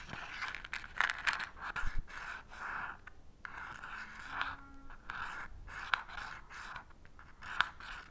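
An unlit wooden match head is scratched again and again by the fingers across the purple abrasive striker strip of a small cardboard matchbox held in the other hand, producing a series of dry, gritty scrapes. The scrapes have a bright rasp centred in the upper mids, and a few sharper clicks stand out, but no flame is seen catching.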